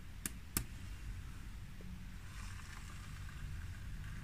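Long nails tap and scratch with both hands on a large, solid grey glass tabletop. Two sharp, quick taps ring out near the start, followed by soft, bright scratching over a steady low rumble.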